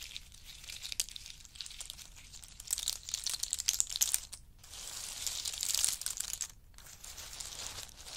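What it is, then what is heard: Pile of in-shell pistachios. Fingers dig into a pile of in-shell pistachios, scooping up handfuls and dropping them back onto the pile. The shells make a dense, bright rattling clatter that swells and fades, with brief pauses at about 4.5 and 6.6 seconds and almost no low end.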